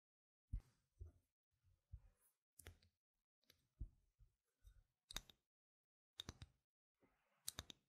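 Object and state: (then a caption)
Plastic game token. Long red fingernails tap and scratch the printed face and edge of a single small, solid, white-rimmed round plastic game gem token held between the fingers. The result is a series of quiet, dry, clicky taps with soft low thumps and bright, crisp ticks that stop instantly, separated by brief silences.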